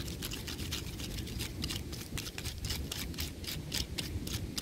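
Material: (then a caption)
Bark. Fingertips and nails of both hands scratch and tap the rough bark of a large, solid tree trunk. A steady run of quick, bright, dry scratches and crackles sits over a dull low rumble, with each tap dying away almost instantly.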